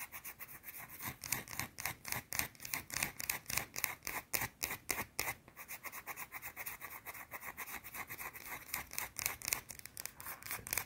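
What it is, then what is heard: Soap bar scratched with fingernails. Long teal nails scratch quickly at a round, solid white soap bar held up close. About 36 short, bright, dry scratching strokes come in a fast, slightly uneven rhythm, each stopping at once with no ring. The sound stays quiet and light, with almost no low end.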